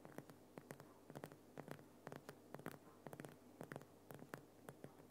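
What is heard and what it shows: Fingernails tap and scratch the rough crystalline sides of a large, solid, lit Himalayan rock salt lamp, making around two dozen sharp, dry clicks and scrapes in an uneven rhythm. Each tap snaps out bright and stops almost at once over a soft, steady low hum.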